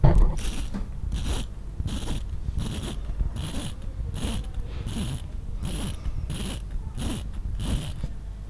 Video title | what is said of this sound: Montre Xiaomi Ciga Design automatique, Sevenfriday et Code41 doivent ils trembler ? | quand on tapote un petit peu sur l'écran on sent que ça sonne creux qui a pas beaucoup d'épaisseur au niveau du métal et du verre